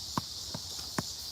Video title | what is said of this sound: Enormous Geodes Discovered Deep Underground | when you hit it, it's kind of a dull sound